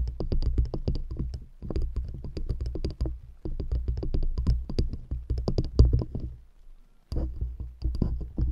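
Long nails tap quickly on the tops and sides of two stacked solid wooden rings set around a microphone. The rapid, deep, thuddy taps come in dense bursts broken by brief pauses, each one short with almost no ring.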